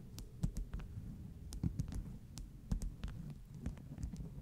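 Long nail tips tap along the top edge of a stack of flat beeswax-coated cotton wraps. The taps land unevenly as soft, low thuds under a steady low hum, each with a short, bright click that dies away almost at once.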